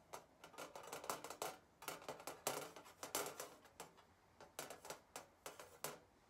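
Long painted nails tap and scratch across the back of a flat, thin galvanized steel sign with a wire hanging stand, lying on a white table. A quick, uneven series of bright, thin metallic taps comes through, each dying away almost at once, with a light scraping hiss between some of them.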